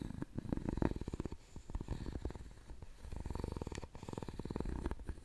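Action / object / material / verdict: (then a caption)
scrape / carved wooden jewelry box / wood / none. A wooden stick scrapes across the lid and side of a hollow, round, openwork carved wooden jewelry box. It makes a rapid, low, ratcheting rattle, like a purr, as the stick clicks over the carved ridges in dense bursts, with short pauses between passes.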